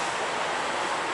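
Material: Nothing is struck.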